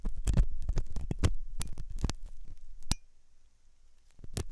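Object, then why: Silicone ear model scraped by a metal pick. A metal dental pick scrapes inside the hollow ear canal of a white, soft silicone ear on a binaural microphone. The scratching comes through as deep, muffled thuds and rumbles with sharp bright clicks, about ten strokes in an irregular rhythm. There is a quieter lull near the end before a final pair of scrapes.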